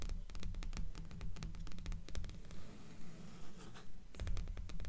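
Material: Paper.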